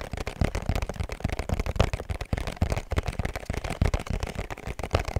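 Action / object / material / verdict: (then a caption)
tap / small cardboard perfume box / cardboard / none. A small, hollow pink cardboard perfume box with a black ribbon is held close and tapped rapidly with fingertips and nails. The result is a dense run of quick, dull, low-heavy taps that die away almost instantly, with faint crisp clicks on top.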